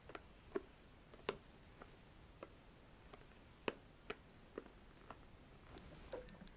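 A wooden stick is scratched and tapped close to the microphone, giving about a dozen light, dry clicking and ticking taps spread unevenly over a quiet background. Each tap is short with almost no ring, and a few land brighter and louder than the rest.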